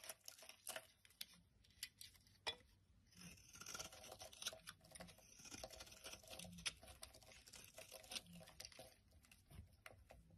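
A utility knife blade scrapes chunks and flakes off a solid bright yellow Cidal soap bar held in the hand. The sound is a quiet, steady run of short, crisp, bright scraping strokes with small flaking crackles, each dying away almost at once.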